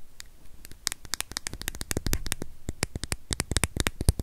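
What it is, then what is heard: Plastic USB power adapter. A small, solid white plastic USB power adapter with metal prongs is held close and rapidly tapped and scratched with long nails. A quick run of sharp, dry clicks with bright crisp tops snaps off instantly, over a faint low rumble, and the taps grow denser and slightly louder toward the end.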